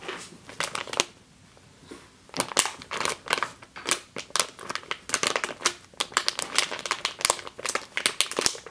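Long green nails crush and scratch a medium clear plastic bag with a yellow label, full of flour or grain. Dense bursts of bright, crisp crinkling and crackling come in quick irregular clusters, with a brief quiet lull near the start before the crumpling resumes steadily.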